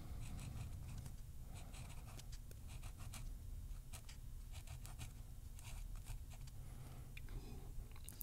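A ballpoint pen held in the right hand writes and scratches on the paper grid of an open softcover crossword puzzle book with thin paper pages, lying on a wooden table while the left hand holds the page flat. Short, bright, scratchy pen strokes come in bursts over a quiet, steady low rumble.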